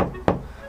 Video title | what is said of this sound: ［激安軽バン］ルーフとフロアデッドニングで静音化❗️快適車中泊仕様に向けて | 貼ってないと結構グァグァ響くんですけどあるとこういうこういう音ですねまったく響かない